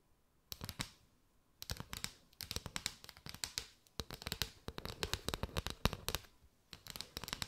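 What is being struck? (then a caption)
Mat of hollow paper straws. Long white nails tap and scratch across a mat of hollow paper straws, held arched with the open straw ends showing. Quick, dry, crackly taps come in dense bursts separated by short pauses, bright and papery with a little low thump underneath and almost no ring after each hit.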